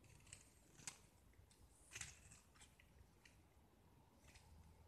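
A metal utility-knife blade carves and scrapes a small, solid, rounded gypsum block with a blue-painted surface, peeling off curls of white plaster. Quiet, bright, dry scraping strokes come at an uneven pace, with a few sharper scratches standing out over a faint low rumble.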